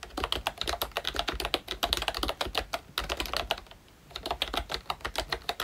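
Fingertips of both hands type steadily on a ROYCHE Disney Mickey Mouse themed full-size retro membrane keyboard with round plastic keycaps. The result is a run of quick, bright plastic clacks with a brief pause just before the four-second mark, after which the typing resumes.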